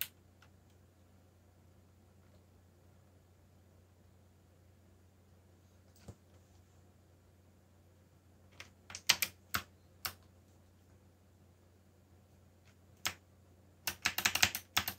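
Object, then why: Plastic mechanical keyboard keys. Fingertips press keys on a backlit mechanical keyboard with black plastic keycaps, slowly and sparsely. Sharp, bright, short clicks come in small scattered groups over a faint steady low hum, with long quiet gaps early on. A quicker flurry of presses closes the clip.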